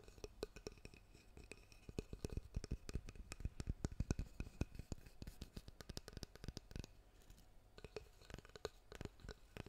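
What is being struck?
Wooden-backed hairbrush.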